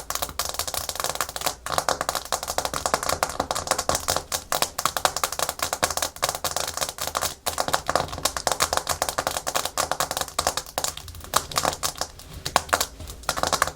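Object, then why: Hard plastic surface. Natural fingernails tap and scratch fast and aggressively on a hard plastic surface, producing dense, rapid clicking like quick typing. The sharp, dry clicks continue without pause for the whole stretch, with no speech.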